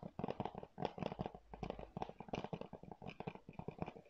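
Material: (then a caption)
Plastic. Fingernails scratch and tap quickly across a hollow blue plastic PS4 game keep case held in both hands. The result is a quiet, dense run of dry clicks and crackly scrapes with a hollow midrange tone and almost no ring after each tap.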